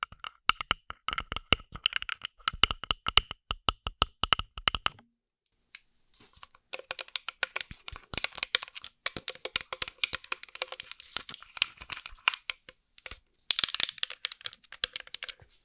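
Long acrylic nails tap on a small, hollow green glass bottle partly filled with liquid, held beside the microphone. For about five seconds, sharp, bright clicks ring briefly with a glassy tone near 3 kHz. After a short pause, a faster, denser flurry of tapping and clicking runs on, breaks once, and then resumes in a final burst.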